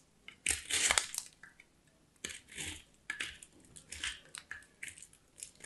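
A small solid white bar of soap is grated by hand on a small steel box grater. The clip is a series of quick, dry scraping strokes, with a long loud rasp early on followed by shorter crunchy passes. Each stroke is bright and hissy with almost no low end and stops abruptly without ringing.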